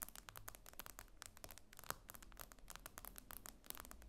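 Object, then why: Glass tablet screen. Fingernails tap rapidly on the glass screen of an iPad lying flat, which feels solid. Quiet, dry, bright clicks follow one another closely with no ring, over a low steady background rumble.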